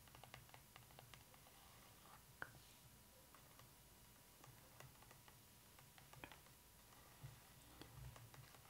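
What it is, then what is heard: Fingernails tapping glossy book pages. Long acrylic nails tap and scratch on the glossy paper pages of an open photo book lying flat on its introduction spread. Quiet, sharp clicks of nails on paper are scattered over a soft low hum, with one louder tap standing out and light scratching in between.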